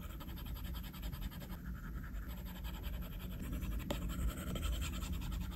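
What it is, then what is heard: Stylus scratching on a glass tablet screen. A plastic Apple Pencil tip makes short, repeated scratching and tapping strokes across a flat glass iPad screen while coloring. The sound is a quiet, steady, low-heavy rustle with a faint bright edge, growing slightly louder toward the end.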